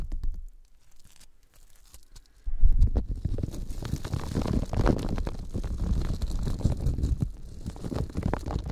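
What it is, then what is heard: Polymer foam sponge being squeezed. A yellow smiley-face Scrub Daddy sponge, a hand-sized, solid, textured polymer foam, is squeezed and rubbed with fingertips close to the microphones. After a brief rub and about two quiet seconds, a loud, dense stream of low, rumbling, crunchy squishing begins. It continues steadily to the end, with faint bright crackle above it.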